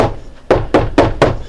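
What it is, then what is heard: Hollow section of a thin RV wall panel. Knuckle-style knocks on a thin RV bathroom wall panel while searching for the beam where a shelf holder's interior holes should go. Four dull, low-mid thunks ring briefly. The spot sounds hollow, with no beam behind it.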